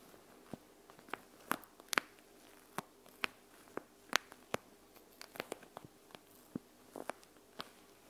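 Long acrylic nails tap and scratch a clear plastic panda-face eye mask filled with gel beads, lying flat on a wooden table. Sharp, bright, irregular clicks and taps sound quietly one after another, with a brief rustling scratch near the end.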